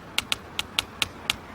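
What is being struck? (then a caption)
Brick wall. Six soft taps are made around the corner of a brick building and heard through the bricks with an ear pressed to the wall. Each tap is a short, bright click centred near 2.8 kHz with almost no ring, evenly spaced over about a second and a half. The taps carry clearly through the brick, showing that sound travels faster through brick than through air.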